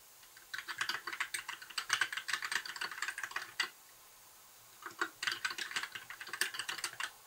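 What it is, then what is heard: Plastic mechanical keyboard being typed on. Both hands type steadily with their fingertips on a compact white plastic mechanical keyboard with backlit keycaps and a hollow case, resting on a desk. Rapid, bright clicky key taps come in two bursts separated by a pause of about a second. Each tap is short and dry with no low end.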